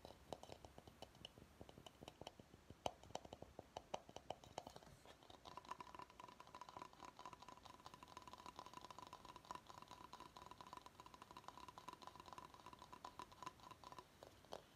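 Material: Bamboo.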